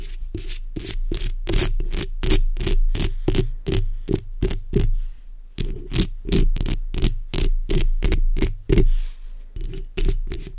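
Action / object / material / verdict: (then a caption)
scrape / metal mesh microphone grille scratched with fingernails / metal mesh / none. The backs of long red acrylic nails on both hands scratch the hollow metal mesh head of a black condenser microphone. It makes a fast string of close, rasping scrape bursts over a heavy, boomy low rumble and hum. The rhythm runs steadily with a brief pause near the middle.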